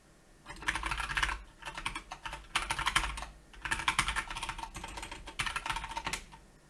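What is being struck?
Plastic mechanical keyboard.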